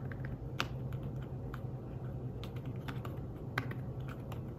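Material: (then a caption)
Fabric. Fingertips of one hand type rapidly on a thin, flat, grey fabric-covered folio keyboard for a tablet. Soft, muffled key taps with short decays sit over a steady low hum, with a couple of slightly sharper clicks standing out.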